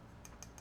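Three light taps on the metal housing of an EZ V bow sight, shown with a Mathews VXR, give short, bright ticks over a low steady hum. The housing looks like plastic but is metal, and even its plastic-looking part sounds metallic.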